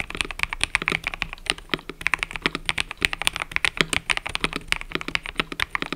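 Fingertips type continuously on a mechanical keyboard with cream and purple plastic keycaps, producing a rapid stream of about forty short, bright clacks with almost no low end. Each keystroke is crisp and dies away almost instantly, with uneven gaps between strokes.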